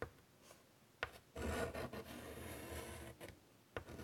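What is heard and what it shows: A hand draws short strokes with white chalk on a large flat chalkboard in a wooden frame. Sharp taps of the chalk meeting the board are followed by dry, raspy scratching that swells into a longer, louder stretch of rubbing strokes, with quiet pauses between.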